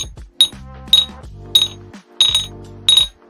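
Plastic dice are shaken with an untreated face coming up, giving a normal-sounding rattle and roll. Sharp, bright clicks with a ringing tone near 3.8 kHz recur irregularly, each dying away quickly, with a softer low rumble of the rolling dice in between.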